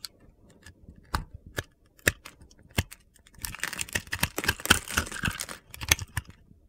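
A metal utility knife blade cuts into the scored surface of a hand-sized, solid teal and green glittery soap bar held in the palm, carving it into small cubes. Sharp, crunchy clicks come at uneven intervals, then give way to a denser run of gritty scraping cuts before a few last crisp snaps.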